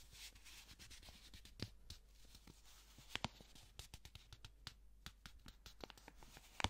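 A single thin, flat blue paper banknote is crinkled and rubbed between black-gloved fingers in front of a microphone. Quiet, dry rustling and scratchy friction run throughout, broken by crisp, bright crackles and a few sharper snaps of the paper.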